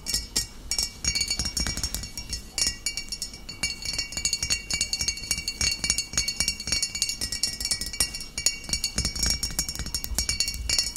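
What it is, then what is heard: Full glass bottle. Long nails tap rapidly and continuously on the body and shoulder of a full, upright glass bottle of cider vinegar. Bright, high clinks with very short ring overlap in a dense, steady stream, with a faint low thump under some taps.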